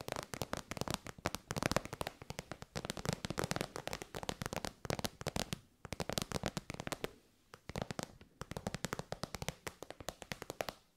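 An elongated, shiny pink metallic faux-leather pouch, soft and hollow, is tapped with long white nails. The result is fast, dry, clicky taps in bursts with short pauses, each tap sharp with almost no ring and a papery, crackling texture.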